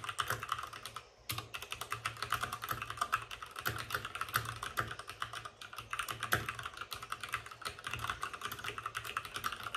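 Fingertips of both hands type fast on a white RGB-backlit mechanical keyboard with plastic keycaps and a hollow plastic case. The result is a dense, steady stream of sharp, bright plastic clacks with a faint hollow low knock under them, broken by one brief pause early on.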